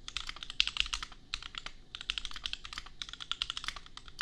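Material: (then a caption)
Plastic. Rapid typing with bare fingertips on a $250 custom compact 65% mechanical keyboard with Gateron Milky Yellow switches in a hollow plastic case, with red and pink plastic keycaps, resting on a printed desk mat. The key presses make a dense run of short, dry, bright clacks with very little low end, and they stop instantly with no ring.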